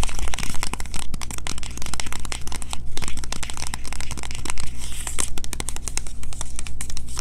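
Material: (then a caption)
Cardboard. Long fingernails rapidly tap and scratch a small green printed cardboard box with a bar of soap inside, held in the hands. The result is a dense stream of crisp, papery clicks and crinkly scrapes over a steady low hum.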